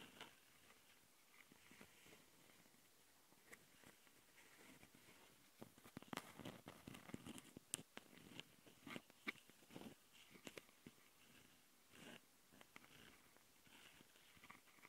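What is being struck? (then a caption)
Plastic handheld audio recorder with metal-mesh mic capsules. Long nails on both hands scratch the metal-mesh mic capsules of a small plastic Tascam handheld recorder. The result is quiet, dry, crackly rasping with a bright, hissy edge, coming in uneven bursts of sharp ticks. The scratching grows denser and louder through the middle before easing off again.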